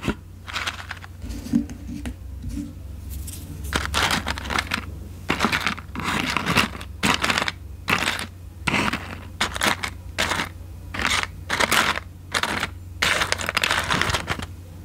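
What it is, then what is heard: Cardboard matchbox with wooden matches. A small white paperboard matchbox, open like a drawer and full of wooden matches, is held in one hand close to the microphone while long painted nails pick at and handle the matches and the box. Bursts of bright scratching, rustling and light tapping come and go over a steady low hum.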